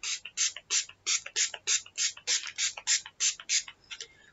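A makeup setting spray bottle with a mixing ball inside is shaken before opening. A quick, fairly steady run of bright, sharp rattles from the ball knocking inside the can, about a dozen main bursts at roughly three per second, fading at the end. The rattle shows a mixing bead is in the contents.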